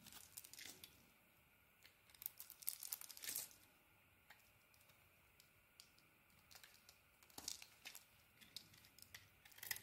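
A purple and cream solid bar of soap, held in the hand, is shaved with a craft blade. The result is quiet, irregular bursts of crisp, bright scraping and crinkling, with short pauses between cuts.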